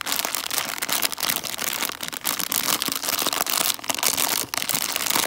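A small clear-and-printed 142 g plastic candy bag full of foil-wrapped chocolate coins is squeezed and crinkled with fingertips and long dark nails. A steady, dense, bright crinkling and crackling runs throughout, with little low end and only brief dips in loudness.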